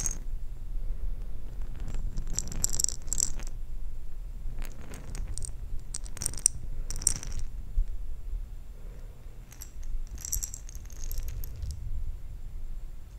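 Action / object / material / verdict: shake / glass jar of plastic beads / glass, plastic / none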